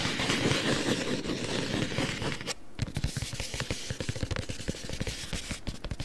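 A long, flat, hollow printed cardboard packaging box for beeswax wraps is held in both hands close to the mic and handled with fingertips and nails. Dense, scratchy rustling fills the first couple of seconds, then a brief near-silence. After that come quick, irregular hollow taps and scrapes with a low, boxy thud.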